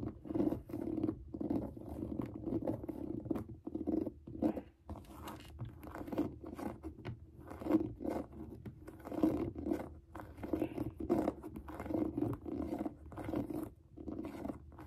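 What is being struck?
Suede sneaker upper.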